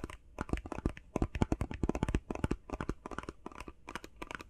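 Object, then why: Face mask box of cardboard with plastic window. Fingers tap quickly on a face mask box made of plastic and cardboard. Each tap is a short, dry knock with a low, hollow thump and a bright clicky edge. The taps fall in a rapid, uneven run and stop at once with no ring.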